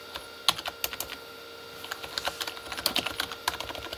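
Both hands type with their fingertips on a full-size Corsair K35 plastic mechanical keyboard with red-backlit plastic keys. The clip is an irregular run of sharp, bright plastic clicks and clacks, each dying away almost instantly over a faint steady hum. Bursts of quicker strokes come after a brief lull in the middle.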